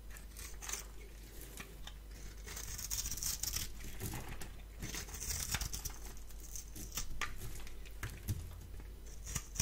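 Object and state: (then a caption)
Bar soap being shaved. A palm-sized solid rectangular bar of blue soap is held in one hand and shaved with a metal blade tool held in the other, the scraping and cutting lifting off flakes. Repeated crisp, dry scraping strokes with bright, airy hiss sit over a steady low hum.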